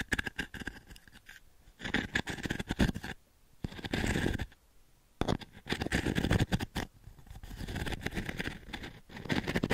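Long nails scratch and tap across the pins and frame of a small octagonal wooden-framed pin brush. Bursts of dense, bristly scratching and quick taps alternate with brief quiet pauses. The sound has a soft low body under a crackly upper texture.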